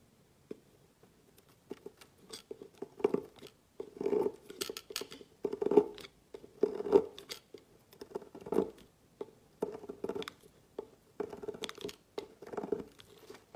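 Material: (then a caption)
Soap. A metal utility-knife blade cuts thin slices off the end of a red and white striped solid bar of soap lying on a woven placemat. Irregular bursts of crisp scraping and crunching come one after another, with a steady tone near 400 Hz and bright, crackly edges. Each stroke stops almost at once, with no ring.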